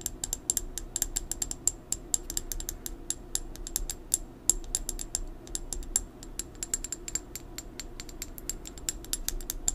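An amber plastic supplement bottle, a brown pill bottle lying on its side, has its cap and body tapped with long nails. The result is a rapid, steady stream of sharp, bright clicks with a high ring over a low, soft background.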